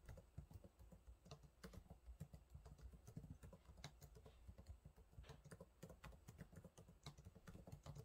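Fingertips of one hand type on the low-profile plastic keys of a silver laptop keyboard, giving a steady run of quick, quiet taps. Each keystroke is a soft, short, low thud with a faint bright click that dies away almost at once.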